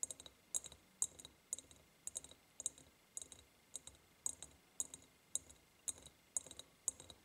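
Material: Glass.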